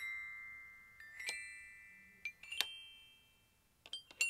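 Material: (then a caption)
Aluminium. Aluminium glockenspiel bars are struck with a yellow plastic-headed mallet, producing bright, high metallic tones. Several irregularly spaced strikes come through, some in quick clusters. The first note rings out and slowly fades before the next strikes.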